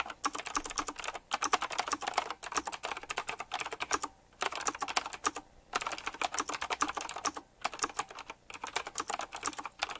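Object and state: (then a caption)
Typewriter-style mechanical keyboard being typed on. Fingertips type rapidly on a black retro typewriter-style mechanical keyboard with round plastic keycaps and chrome metal rims. Dense runs of sharp, bright clicks with almost no ring are broken by brief pauses, with little low-end weight.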